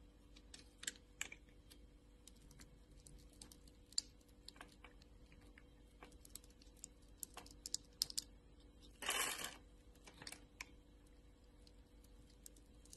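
A craft knife blade scrapes pre-scored cubes off the surface of a small, solid, translucent orange glycerin soap bar held in the palm of a hand with long purple nails. Quiet, sharp, bright clicks and ticks crackle sparsely over a faint steady hum. A short, louder rasping scrape comes near the nine-second mark.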